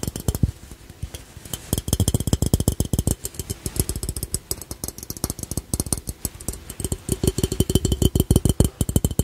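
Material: Ceramic.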